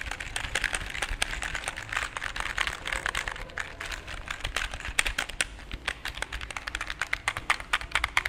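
A full-size black plastic computer keyboard with a cable is held up in both hands in front of the microphone while fingertips press and tap the keys in quick typing-like runs. Dense, bright plastic clicks overlap steadily over a low background hum, the taps too close together to count.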